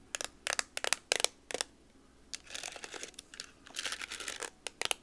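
A hand-sized TI-30X IIS plastic scientific calculator with a hollow case is tapped with long nails on its keys, front and back. Bursts of sharp, bright clicky taps come first, then a busier run of rapid, scratchy clicking, then a few more crisp taps. The sound is dry and light, with almost no low end and no ring after each tap.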